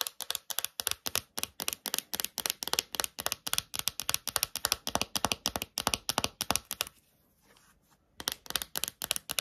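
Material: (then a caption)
Plastic. Long nails tap and click rapidly on a small, thin, hollow clear plastic phone case with a heart print. The sharp, bright clicks come in quick rhythmic bursts with almost no ring, then stop for about a second with only a faint soft rustle before the tapping resumes.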